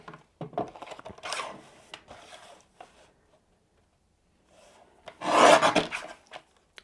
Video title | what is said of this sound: Introducing NEW Simon Hurley Create Solar Sprays from Ranger Ink! | it is 400 GSM so hopefully you can hear that it is thick paper